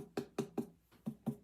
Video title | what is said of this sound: Life of Guitar Journeys | It's hollow and it's not very thick. You can tell by tapping on it.